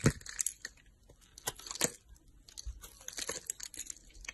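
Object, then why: Bar of soap. A solid pink oval embossed soap bar, held in the hand by long nails, is carved with a utility knife blade. Irregular, crisp cutting and scraping strokes produce bright, crackly, crumbly scratches with short dry attacks and no ring.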